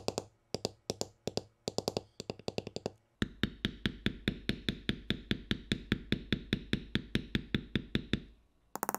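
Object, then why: Metal beveler tapped on vegetable-tanned leather. A metal beveler held in the fingers is tapped rapidly along the carved swirl lines of a flat, solid sheet of vegetable-tanned tooling leather, with the mallet out of view. Short, dry knocking taps come in quick clusters at first, then settle into a steady run of evenly spaced strikes that stop briefly before one last burst.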